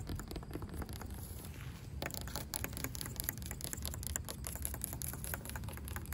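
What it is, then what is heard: Weathered wooden rail. Long pink acrylic nails tap and scratch a solid, grey, weathered wooden plank or rail outdoors. A dense run of quick, dry clicks and soft knocks rides over a low, dull body and a steady scratchy texture. The tapping grows busier and brighter after the first two seconds, and each hit dies away almost at once.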